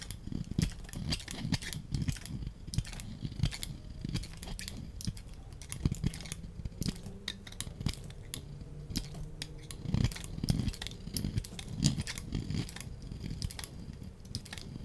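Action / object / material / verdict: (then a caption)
scrape / bar of soap scraped with a small metal blade / soap / none. A solid, oval, palm-sized mint-green bar of soap is held in one hand and scraped with a small metal blade, peeling off white-green shavings. Repeated scrape strokes make a dense run of short, dry, crackling scrapes with a soft low body and bright, brittle edges.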